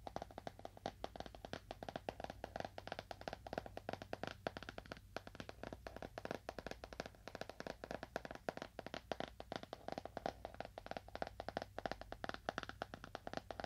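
A leather-bound book is tapped with fingernails at a moderate to fast pace, giving a dense stream of short, dry clicks centered in the midrange. Each tap dies away almost instantly over a faint, steady low hum.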